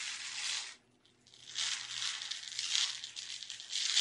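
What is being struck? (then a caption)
Small plastic tub filled with sugar sprinkles. A small clear plastic tub with a lid, full of colorful sugar sprinkles, is held in both hands and tapped and scratched with long red nails. It makes a dense, bright, crinkly scratching with light rattling. The sound drops to near silence for a moment just before one second, then resumes and grows louder toward the end.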